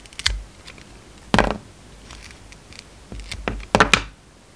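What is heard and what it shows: A steel utility-knife blade cuts slices off a hand-sized, solid green and white soap bar with a glittery edge, held in the hand. Several short, crisp cuts are heard, each a dry, bright scrape-and-snap with almost no ring. They come in small clusters separated by quiet pauses.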